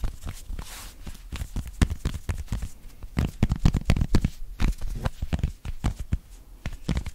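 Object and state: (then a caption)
Knit cotton polo shirt being scratched. Fingertips and short nails of both hands quickly scratch an open-weave knit cotton polo shirt worn on the chest. The result is a fast, irregular run of dry, scratchy rubbing bursts, about two per second, with a soft low thump under each stroke and brief bright crackles. The sound is short, with no ring.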